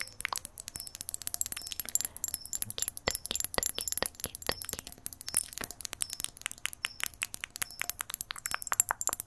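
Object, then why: Small glass jar. Long nails tap rapidly and steadily on the glass bottom and sides of a small clear glass jar with a green lid. Each tap gives a short, bright, chime-like clink with a high ring that dies away almost at once, over a quiet background.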